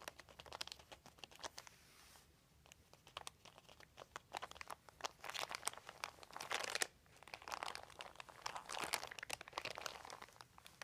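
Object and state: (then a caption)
Crinkled plastic sheet. A hand and fingertips rub and crinkle a large, thin, white crumpled plastic sheet, making dense, crisp crackles with bright, hissy highs. The crinkling comes in bursts and swells, with short quieter pauses between, and each crackle dies away instantly.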